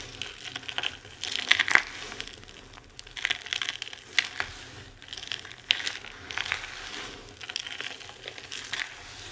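Two hands with long red-painted nails scoop, squeeze and crush handfuls of a loose pile of dry, crumbled white, green and pink bar soap, from hand-sized chunks down to fine crumbs and shavings, on a white surface, rubbing the solid pieces against each other. The result is repeated waves of bright, crisp crunching and crinkling, centered around 2 kHz, with sharp little cracks and clicks in each squeeze. Quiet pauses fall between the squeezes, and there is almost no low end.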